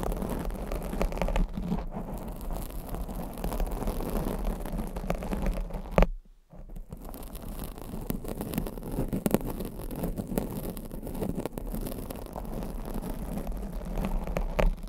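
Long blue acrylic nails scratch and tap the sides of a black foam microphone windscreen. The result is a dense, continuous low, muffled rustling and scraping with soft taps scattered throughout. It drops to near silence for a moment around the six-second mark before resuming.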